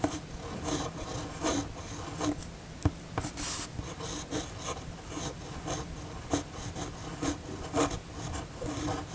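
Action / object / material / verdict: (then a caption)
scrape / steel pen nib on a paper sheet / paper / none. The steel nib of a red fountain pen writes in cursive on a flat white paper sheet, giving a dry, scratchy rasp. Short bright strokes of scratching rise and fall in an uneven rhythm over a faint, steady low hum.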